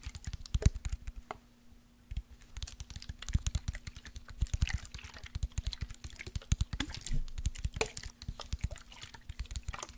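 Fingernails tap quickly on a tall glass body spray bottle with a lace print, partly full of orange liquid, while the bottle is tilted. Dense, sharp clicks run almost nonstop, with a short quiet gap near the start and soft liquid movement under the tapping.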